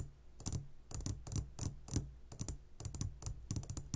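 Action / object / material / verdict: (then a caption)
tap / glass jar full of candies / glass / none. Fingertips from both hands tap quickly on a clear glass jar full of gummy candies. Each tap gives a short, bright click over a soft low thump that dies away almost at once, in an irregular rapid rhythm.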